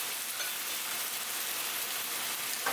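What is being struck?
Nothing is struck.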